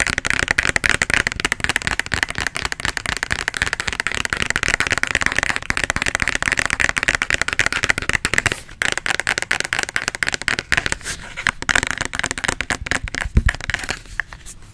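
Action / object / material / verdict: tap / small plastic bottle with liquid / plastic / none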